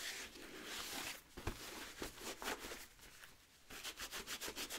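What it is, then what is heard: Nubuck leather boot with rubber sole being rubbed. A blue microfiber cloth held in the fingers wipes and rubs the rubber lug sole of a hollow, empty wheat nubuck leather boot held up. Soft, bright rubbing and scratchy swishes carry throughout, with a few sharper low thumps near the middle. The clip ends in a quick rhythmic series of short strokes.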